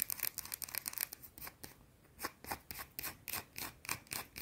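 Long blue-painted nails rub and scratch the surface of a small, solid, round white soap bar. Quick, irregular bursts of dry, bright scratching come in a rapid flurry at first, then in more spaced-out strokes. The sound stays quiet, crisp and hissy, with almost no low end and no ring after each stroke.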